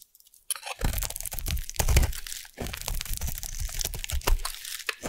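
A metal blade carves a solid purple oval bar of soap, shaving it off in crunchy strips. After about half a second of near silence, dense crunching and crackling scrapes run through the rest of the clip, with dull low thuds underneath and bright crisp crackles on top.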